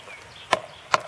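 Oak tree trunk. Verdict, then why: Solid. A white oak trunk is tapped twice, giving two sharp, short knocks centered around 1 kHz with almost no ring. The wood sounds solid.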